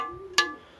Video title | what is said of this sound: Comment décalaminer son pot d'échappement moteur 2 temps | là on entend bien, c'est plein de calamine